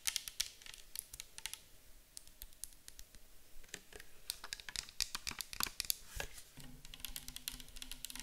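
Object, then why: Plastic bottle of liquid. Long acrylic nails tap rapidly on a clear plastic micellar water bottle full of liquid, first held in the hands and then set on the table. The taps are quick, dry, bright clicks with almost no ring. A faint low steady hum joins in the last couple of seconds.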